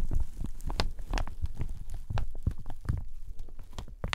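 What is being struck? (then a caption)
Satin shower cap with elastic edge. A hollow, empty teal satin shower cap with a white lining and an elastic ruffled edge is squeezed, rubbed and scrunched with the fingers. It makes a steady run of soft, muffled rustles and dull low thumps, with only faint brighter crinkles on top.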